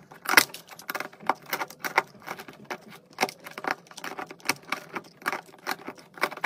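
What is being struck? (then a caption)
Soap bar cut by a metal knife. A metal knife blade carves shavings off a solid pink and white soap bar, making a quick series of short, crisp scraping and crackling bursts. The cuts are dry and bright, centered around 2 kHz, and each one stops almost instantly with no low rumble beneath.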